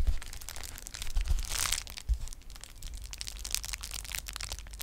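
A flat sheet of clear plastic bubble wrap is held in both hands and crinkled and squeezed with fingers and nails. The result is a continuous crackling, crinkling rustle with bright, sharp crackles and soft low thumps.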